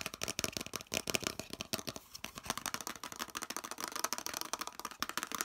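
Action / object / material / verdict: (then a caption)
tap / molded plastic piece / plastic / none. Fingernails rapidly tap the edges and surface of a hollow molded yellow plastic piece held in both hands. The result is a fast, dense run of short, dry, bright clicks with almost no ring and very little low end.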